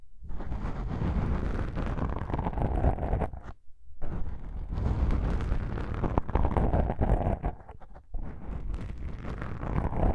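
Long pink nails pinch and scratch black foam microphone windscreens, producing a dense, muffled, low-heavy rumbling crackle that sounds like wind buffeting. The scratching runs almost continuously, with brief quiet gaps around 3.5 seconds and 8 seconds.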